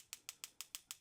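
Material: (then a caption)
Mineral glass. A metal pen tip taps six times on the mineral glass crystal of a G-Shock GM2100YM-8A watch. Each tap is a sharp, bright, high-pitched tick that dies away almost at once.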